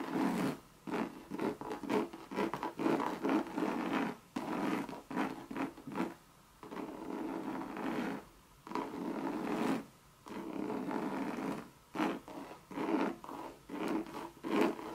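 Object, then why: Coated canvas and leather handbag. Long red nails scratch a Louis Vuitton monogram coated-canvas bucket bag and its leather edge. The result is dry, raspy scratching in quick repeated bursts, centered in the mid range around 336 Hz, with brief pauses and a longer stroke in the middle.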